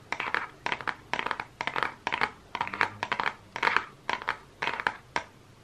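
Fingernails tap and scratch the cover of a small, flat, closed Focallure makeup palette in a holographic-printed cardboard case. Quick rhythmic bursts of bright, dry clicks blend into scratchy rasps, each dying away almost instantly with no ring.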